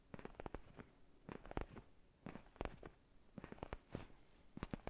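A black faux-leather padded neck pillow held close to the mic is scratched and rubbed with fingertips and nails. The result is quiet, dry crackling scratches in short clusters, with sharp clicks and a soft, low-heavy rustle between them.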